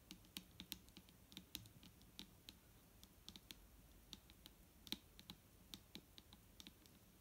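Long nails of both hands tap rapidly on the body of a large, clear plastic micellar water bottle that is full of liquid and lying flat. The result is a quiet, irregular stream of sharp, bright clicks that stop almost instantly, over a faint low rumble.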